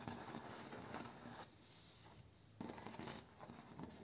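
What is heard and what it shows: Fingertips and short nails rub, scratch and tap across the vertical slats and node bumps of a large bamboo slat door. A dense, bright scratching texture with soft tapping runs throughout, drops to a quieter stretch midway, then resumes with sharper taps and rubbing.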